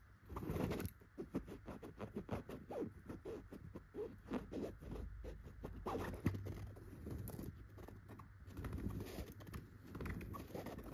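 Long pointed gold nails scratch and rub across a soft, filled yellow throw pillow covered in raised tufted dots of chenille fabric. The result is a steady run of quick, muffled scratching strokes, mostly low and dull with very little brightness, rising and falling gently in loudness throughout.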